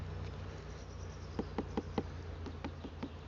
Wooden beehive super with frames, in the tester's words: ça sonne pas creux